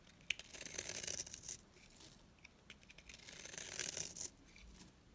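A small, dry, rectangular pink bar of soap held in the fingers is shaved with a box-cutter blade into thin curls. Soft, bright scraping and crisp crackling come in two longer passes with a quiet pause between. The curls peel away with a light, papery rasp.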